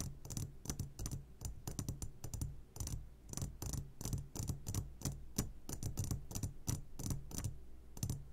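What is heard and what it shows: Fingertips tap on the sides of an upside-down clear glass jar full of hard candies, making a steady run of quick, light taps. Each tap is a short, bright tick over a low hum, with faint rattles from the candies inside.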